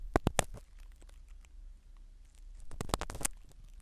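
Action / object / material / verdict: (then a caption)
scrape / foam microphone cover in a silicone ear, scratched by a spiral ear pick / foam / none. A black spiral ear pick scratches the foam cover of a small black microphone sitting in a silicone dummy ear. Sharp, dry crackles and scrapes come in quick bursts near the start and again toward the end, separated by a soft, low rumbling hush.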